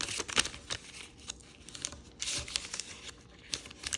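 Fingers open and fold the flaps of a multicolor and red rainbow origami paper sheet and crease it. The result is quiet, bright crinkling in short dry bursts, with almost no low end, and the louder crinkles stand out from a soft rustle.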